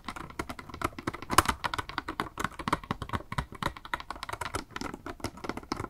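A small, hollow, clear pink plastic blister box with a makeup sponge inside is held in both hands and tapped with long nails. Quick, dry, clicky taps come in a steady, uneven stream, centered around 1 kHz with a few brighter accents. Each tap dies away almost at once, leaving a light, hollow plastic patter.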